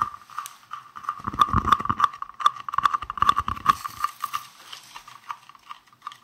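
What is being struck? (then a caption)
Small round translucent plastic case. A palm-sized, hollow, green translucent round plastic case is held in both hands and tapped rapidly with fingertips and nails. The quick, uneven taps give short, dry clicks with a hollow tone near 1.2 kHz, and duller low thumps gather in the middle of the burst. Toward the end the tapping grows lighter, with a brighter scratchy edge.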